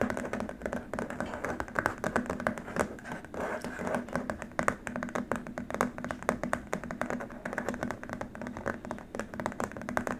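Fingertips and short nails of both hands tap and scratch rapidly across a long, flat, white plastic keyboard wrist rest. The result is a dense, continuous stream of dry, clicky taps with a hollow mid tone around 1.2 kHz, each hit dying away almost instantly, over a faint steady low hum.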